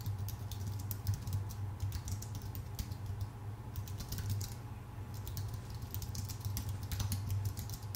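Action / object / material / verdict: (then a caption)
tap / aluminium-base keyboard with plastic keys / aluminium, plastic / none. A full-size white Apple Magic Keyboard with a numpad, a thin aluminium base and plastic keycaps, sitting on a dark desk, is typed on steadily with the fingertips of both hands. The result is a continuous patter of quick, light, bright key taps with short decays, over a steady low hum near 100 Hz.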